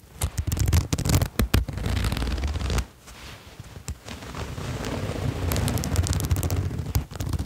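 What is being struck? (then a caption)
Sherpa fleece jacket with metal zipper. Fingers draw the zipper pull along the zipper of a red patterned sherpa fleece jacket, producing rough, crackling rasps and sharp clicks over a heavy low rumble. The sound drops to a quiet pause near the middle, then the rasping returns and continues steadily to the end.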